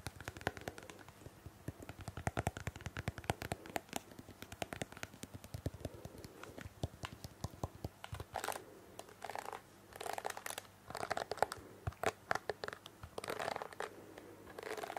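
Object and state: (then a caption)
Plastic hairbrush. A pink plastic detangling hairbrush with plastic bristles is held in the hand while long painted fingernails tap and scratch its back and bristles. Rapid, dry plastic clicks fill the first half, then give way to longer scratchy, crinkling bursts over a faint steady low hum.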